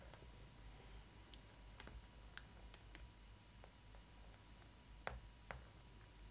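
Long nails tap and scratch the heart-shaped cardboard frame on the front of a Disney ILY 4ever Stitch doll box, giving quiet, short, dry clicks over its printed cardboard. Light ticks are scattered through the clip, two sharper taps land near the end, and a steady low hum runs underneath.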